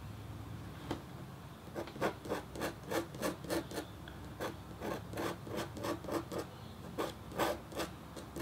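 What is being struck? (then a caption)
Black-coated copper-foil scratch board scraped with a metal stylus tip. The metal tip of a red stylus scratches a flat, thin, solid black-coated copper-foil scratch art board while etching a hummingbird design. About sixteen short, bright rasping strokes come in an uneven rhythm over a quiet background, each a brief papery scrape with no ring.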